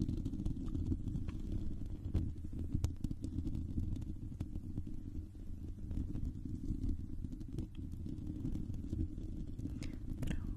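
Long pink nails from both hands scratch a silver, hollow metal mesh microphone grille, with one hand briefly touching the cable. The result is a steady, muffled low rumble around 78 Hz, dotted with scattered sharp, bright ticks and scrapes.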